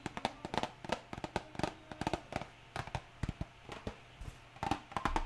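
A small printed cardboard hair dye box, held in one hand, is tapped on its top and sides with long nails, giving about two dozen quick, dry, hollow clicks with a tone near 800 Hz. Each tap dies out almost at once, and steady rain hisses in the background throughout.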